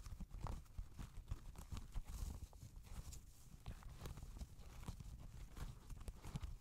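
An empty grey Adidas NMD knit-fabric sneaker rests on a lap in front of the microphone while fingertips and nails tap and scratch the upper near the laces. The taps are soft, dull and low, with quick thumps that die away almost at once, and a faint scratchy brush runs between them.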